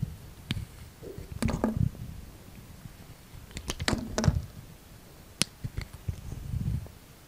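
A utility knife blade scrapes and shaves curled strips from a solid rectangular green coconut soap bar. Soft, low, muffled scraping comes in irregular bursts, broken by short, sharp, bright clicks as the blade catches and cuts.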